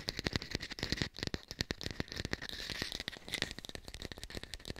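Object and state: Fake pear.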